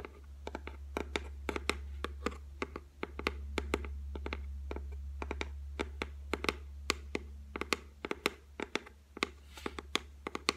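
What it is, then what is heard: Laminated shelf, solid. Long white nails tap rapidly on the flat, solid top of a white laminated shelf, making many short, dry clicks with a bright edge that stop almost instantly. A steady low hum runs underneath the whole time.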